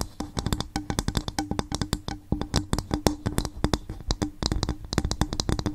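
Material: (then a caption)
Coconut shell. A coconut shell bowl is gently tapped with the fingers on the microphone in a steady run of quick, soft taps. Each tap is a short, hollow knock with a tone near 300 Hz, a low, thumpy body, and a faint bright click that dies away almost at once.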